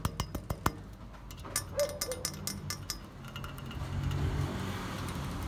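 Fingertips and nails tap and flick along the slotted face of a hollow, square metal upright painted green, standing against a speckled stone surface. A quick run of sharp, bright metallic clicks comes first, followed by softer, irregular taps and light ringing over a low rumbling background that grows louder toward the end.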